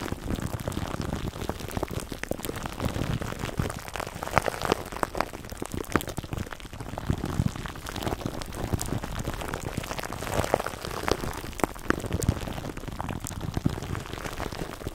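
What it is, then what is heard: Plastic cling wrap over a foam microphone cover. Fingertips and short nails scratch and rub clear plastic cling film wrapped tightly over a microphone's black foam windscreen. The result is a dense, continuous crinkling and scratching with heavy low rumble and frequent sharp, brief crackles that stop dead with no ring.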